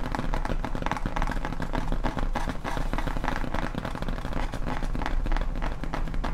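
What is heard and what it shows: Long painted nails tap and scratch quickly across the front of a large, flat, solid grey foam Halloween tombstone prop sign with HALLOWEEN lettering. The result is a dense, steady patter of soft, dull taps with short decay, heavy in low thuds around 70 Hz and with little brightness.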